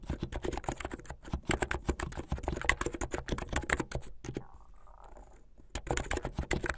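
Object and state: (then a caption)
Plastic mechanical keyboard. Fingertips with painted nails type fast on a backlit plastic mechanical keyboard with white and blue plastic keycaps. A rapid stream of sharp, clacky keystrokes pauses briefly, leaving a faint, quiet hum, and then the typing resumes.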